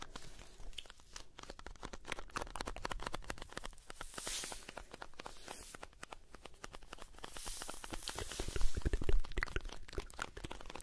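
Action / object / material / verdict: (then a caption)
tap / small cardboard carton filled with salt / cardboard / none. Fingertips tap and scratch a small blue "Alpen Salz" cardboard salt carton, apparently filled with salt, held close to the microphone. Dense, irregular papery scratching and crinkling mix with soft, dull low thumps, with brighter hissy scraping swells around the middle. The tapping grows louder near the end.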